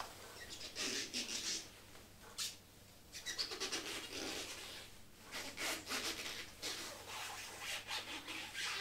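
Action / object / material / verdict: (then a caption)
scrape / rubber rain boot / rubber / none. A glossy black rubber ankle rain boot, hollow and empty, is held up and rubbed and scratched along its shaft by fingertips in turquoise rubber gloves. The result is a series of bright, squeaky, scratchy rubbing strokes with short bursts and little low end, and a faint rustle from a glove and rain jacket.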